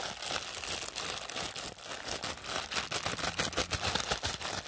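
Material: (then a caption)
Plastic. A thin, flexible clear and pink printed plastic packaging wrapper is crumpled and squeezed in both hands by fingers with pink nails. A dense, continuous bright crinkling fills the clip, with sharp crackling bursts that grow slightly louder and choppier toward the end.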